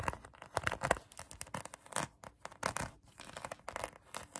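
Long acrylic nails scratch a pink polyurethane foam donut squishy toy. The rapid, dry, crackling scratches come in quick bursts with a papery, tearing-like texture, centred in the mid range with some bright edges. Each stroke stops short with no ring.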